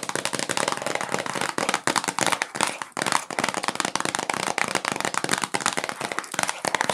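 A rectangular, hollow Q-tips cotton swab cardboard box, apparently still sealed in cellophane plastic wrap, is held in both hands and tapped and scratched with long nails and fingertips. A dense run of quick, dry, crinkly plastic clicks and crackles with bright upper tones and almost no low end keeps going throughout, each tap dying away almost instantly.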